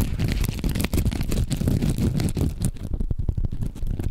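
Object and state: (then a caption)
Foam sponge being squeezed and scratched. A hand-sized yellow foam sponge is repeatedly squeezed and scratched with the fingertips right next to the microphone. It makes a dense, muffled run of soft crackling and scratchy rustles, heavy in low rumble with little brightness, continuing without pause through the clip.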